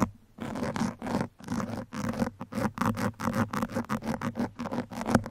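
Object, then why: Metal pins on foam microphone windscreen. Fingertips hold two metal pins and scratch them along the soft, porous surface of a black foam microphone windscreen. Repeated short, rhythmic bursts of dry, crackly scratching and rustling come one after another, each with a steady low body and bright hiss and no ringing afterward.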